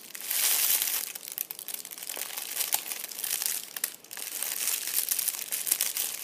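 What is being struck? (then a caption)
Metallic foil crinkle ball. A fist-sized purple metallic foil crinkle ball resting on an upholstered seat is touched by fingertips, then squeezed and crushed in a hand. The result is a dense, bright crinkling and crackling made of many sharp, dry snaps. There is a loud burst at the start and steady crunching throughout, with no low end.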